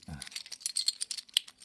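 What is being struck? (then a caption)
Handful of metal bottle caps. A handful of metal bottle caps falls through fingers, is run across a palm, and is then dropped into a lidded box. A soft low thud at the start gives way to a quick run of bright, dry clicks and jangles that stop instantly with no ring.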